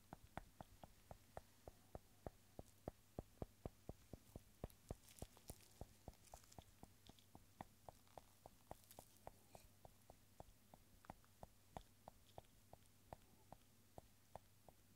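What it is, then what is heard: Small glass bottle. A small, hollow, clear glass bottle filled with tiny rolled paper scrolls tied with red thread is held in a gloved hand and tapped on its side with a pencil eraser tip. There are 46 quiet, dull, evenly paced taps that die away almost instantly, over a steady low hum.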